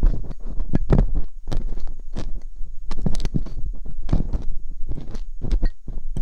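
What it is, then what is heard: Silicone microphone ear scraped with a metal pick. Hooked metal dental picks scrape inside the canals of silicone binaural microphone ears, making dense, close-up scratching and crackling with soft, muffled thumps. The sound is heavy in the low range with brief bursts that reach up bright. It continues steadily with no pauses.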